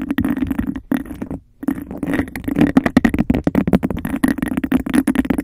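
Long acrylic nails tap and scratch fast and hard on a hollow, empty textured glass cup held over the mic. A rapid, unbroken run of clicky taps and rasping scrapes rings with a boomy, hollow tone around 260 Hz, broken by a brief pause about a second and a half in.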